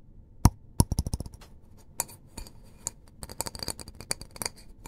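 A small white disposable paper cup, hollow and apparently empty, is held in both hands while fingertips and short nails tap and scratch around its side and rim. About twenty quick, dry taps and clicks come in an uneven rhythm, each dying away almost at once, with light, bright scratching between them.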